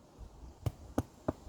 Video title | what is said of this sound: How to make damper | hear that sound? That hollow sound? That's telling you that it's baked.